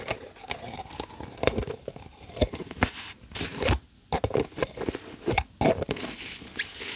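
Long acrylic nails tap and scratch mostly on top of the yellow plastic lid of a medium, hollow plastic tub. Quick, irregular clicky taps mix with scratchy rustling, giving a hollow, mid-toned plastic knock with bright, crisp edges. Each tap dies away almost at once, with brief near-silent gaps between bursts.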